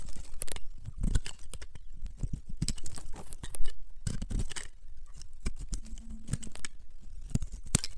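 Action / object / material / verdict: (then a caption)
scrape / bar of soap cut with a metal knife / soap / none. A small, solid green bar of dry soap is held in the hands and carved and scraped with a metal knife blade, shaving off crunchy flakes. Dense, dry crackling and scraping comes in quick bursts, with sharp bright crunches over a low rumble. Each crunch stops almost instantly with no ring.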